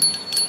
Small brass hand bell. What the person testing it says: अब इसकी आवाज इतनी अच्छी नहीं है